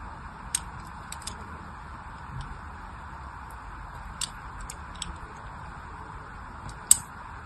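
A solid pink bar of soap is held in the hand while a thin blade scores curved lines into its end. Quiet, sparse scratching and crisp bright ticks sound over a steady low hum. The sharpest, loudest tick comes near the end.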